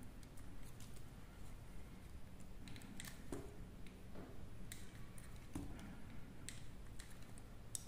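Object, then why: Soap bar carved with a small metal blade. A solid, light green, hand-sized dry soap bar is held in the hand and carved with a small metal blade. Quiet, crisp scraping and cutting strokes with bright, short transients come over a soft low background rumble.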